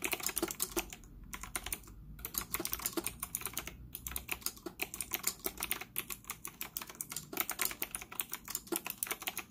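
Fingertips type rapidly on a white retro typewriter-style plastic mechanical keyboard with round plastic keycaps, a hollow case, and an integrated stand, sitting on a desk in front of a laptop. It makes a fast, dense stream of bright, sharp clicks that stop almost instantly, with brief pauses near the start and just before the four-second mark.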